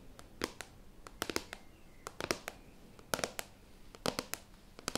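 A closed black laptop, a medium-sized flat hollow plastic shell, is held up and then tilted while long painted nails and fingertips tap, scratch and rub its matte plastic lid. Quick clusters of sharp, bright clicking taps stand out over a soft, steady scratching and rubbing hiss. Each tap dies away almost instantly.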